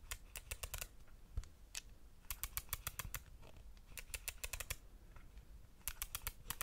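Fingertips tap and click around the ridged rings of a compact camera's silver metal lens barrel. Quick runs of sharp, bright, very short clicks come in several clusters with brief pauses between them, over a quiet low rumble.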